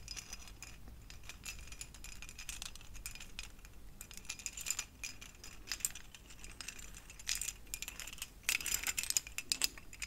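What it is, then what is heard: Plastic pumpkin LED string lights. A lit string of small hollow translucent orange plastic pumpkin-shaped LED covers on thin wire is held up and handled with the fingertips of both hands. The plastic pieces shake, jangle and clink against each other in a steady, bright, dense rattle. Sharper bursts of clicking come near the middle and toward the end.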